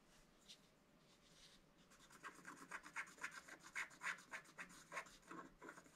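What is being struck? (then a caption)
Black-coated scratch-art card scratched with a wooden stylus. A wooden stylus scratches the upper motifs on a flat black-coated scratch-art paper card. After a faint, soft rubbing at the start, it settles into a quick, uneven run of short, bright scratchy strokes, about three or four per second. The strokes are quiet and dry, with little low end.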